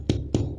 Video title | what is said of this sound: کابلی پلاو بنانے کا طریقہ / سفید چنوں کا پلاو / Kabali palao recipe | जैसे ही ऐसी आवाज आने लगे तो हमारे चावल बिल्कुल रेडी हैं